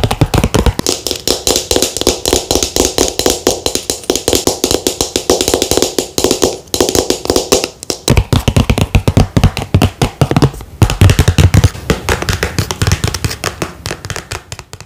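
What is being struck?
Plastic squeeze tube.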